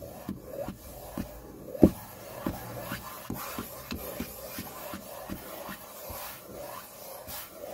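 The pads of the index fingers tap and scratch a flat, solid white tabletop, likely laminate. Soft, dull taps with a low body around 320 Hz alternate with a faint scratchy rasp, and one louder knock stands out near the two-second mark. Each tap dies away almost instantly, with no ring.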